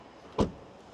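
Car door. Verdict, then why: Solid. A car door on a Skoda Kodiaq vRS is shut once, giving a single short, low thud that dies away quickly. The closing sounds solid.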